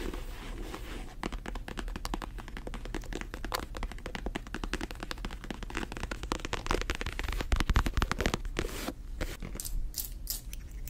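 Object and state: Faux leather pouch tapped and scratched with nails.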